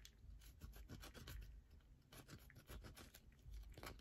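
A solid yellow bar of soap is scratched quickly with long nails, scraping off flakes. Rapid, soft rasping strokes follow one another closely, each a short bright scrape over a low, muffled rumble.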